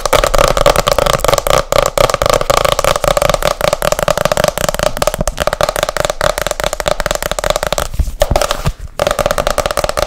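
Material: Board.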